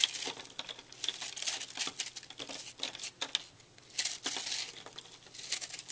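A utility knife blade slices and scrapes the crumbly surface of a porous, puffed purple soap chunk that was microwaved and is held in hand, with flakes falling onto a table. Dry, bright crunching and crinkling scrapes come in rapid, overlapping bursts with a faint low hum underneath.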